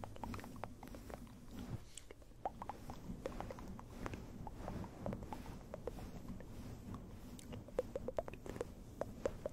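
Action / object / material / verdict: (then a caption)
scrape / synthetic fur microphone windscreen / synthetic fur / none. Fingertips scratch, stroke and cup a small, round, fluffy grey synthetic-fur microphone windscreen, with no face pressed against the mic. A dense, muffled low rumble runs throughout, broken by many short, dry crackling ticks and brief bright scratches that cut off almost instantly.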